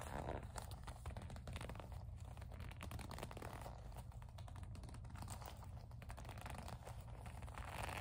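Long acrylic nails tap, grip and rub a small black leather kiss-lock coin purse with a metal frame. The result is a steady, quiet stream of soft crinkling, scratchy taps and rubbing over a low rumbling hum, with no voice.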